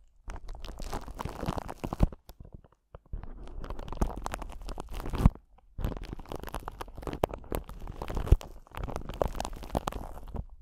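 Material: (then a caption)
Glass. A clear glass crystal ball, a solid sphere that may be acrylic, is held close to a microphone and tapped and scratched with the long pointed nails of both hands. Soft, dense crackling taps and scrapes come in four long bursts separated by short silences, with occasional sharper clicks. The sound is muffled and heavy in the low end, with very little high brightness.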